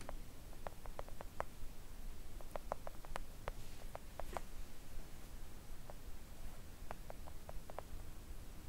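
A thin, solid, flat pink silicone nail art mat lying on a table is tapped gently with long coffin-shaped press-on nails and the fingertips of both hands. The result is a scattered run of quiet, short, dry clicks with a mid-pitched tick and almost no ring, set against a faint low background rumble.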